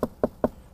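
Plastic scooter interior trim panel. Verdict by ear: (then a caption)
Hollow. Three quick taps on the interior plastic panel of a 2017 Honda Forza scooter, on the side opposite the glove box, give short, hollow knocks centred in the mids around 600 Hz. Each knock dies away almost at once, and the panel sounds hollow, like plain thick plastic.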